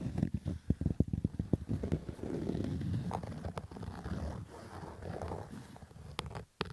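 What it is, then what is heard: Fabric baseball cap. Fingernails scratch the stitched brim of a black Adidas fabric baseball cap. A quick run of short, separate rasping strokes gives way to a steady, rough, low-heavy scratching, with a few sharp bright clicks near the end.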